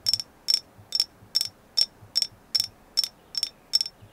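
A thin, flat, hand-sized solid painted agate slice is tapped with long nails in 11 quick, high, bright clicks. Each tap is a short cluster of crisp clicks that dies away almost instantly, repeating at a steady but slightly uneven pace against a quiet background.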